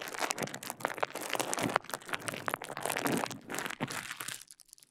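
A small rolled piece of clear plastic bubble wrap is held beside the mic while fingers twist, squeeze and crinkle it. Dense, bright crinkling and crackling fills the clip, dotted with sharp little snaps and crunches, with little low end. It fades to near quiet in the final half second.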